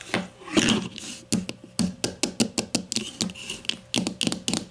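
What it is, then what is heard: Plastic deodorant stick. A grey plastic deodorant stick lies on its side on a table and is tapped quickly with the long matte nails of both hands. A brief, brushier swell at the start gives way to a rapid series of sharp, bright clicky taps with a hollow plastic body around 220 Hz. Each tap dies away quickly.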